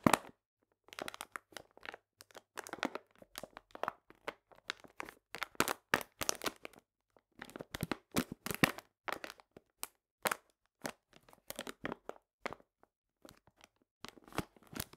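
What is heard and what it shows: A full paper cane sugar bag, held upright, is squeezed and crinkled with fingertips and nails. Clusters of dry, crisp crackles and crunches come in quick bursts, separated by short pauses. The sound is bright and papery, with little low end and almost no ring after each crinkle.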